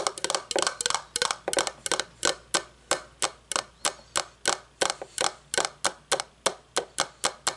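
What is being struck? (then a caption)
Metal candle tin lid. A round, shiny metal candle lid is held and set down, then tapped on its rim and face with long fingernails. The result is a string of sharp, bright clicks that die away almost instantly, quick and clustered at first, then settling into a looser pace of roughly three taps per second.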